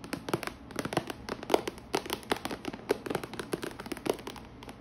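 Long painted nails and fingertips tap and scratch the lid of a clear plastic organizer box with many compartments holding rolls of washi tape. A quick, irregular run of dry, sharp clicks with a hollow plastic knock around 410 Hz, interspersed with light scratching. Each tap dies away almost instantly.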